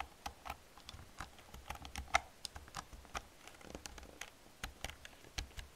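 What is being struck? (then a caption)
Plastic computer keyboard keys. Fast typing with long painted nails and fingertips on an old black plastic computer keyboard with hollow plastic keys. It produces a quick, irregular stream of short, dry clicks and taps with bright edges and a light, hollow clatter. The keystrokes die away almost instantly.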